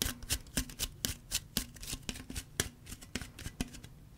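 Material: Aluminum.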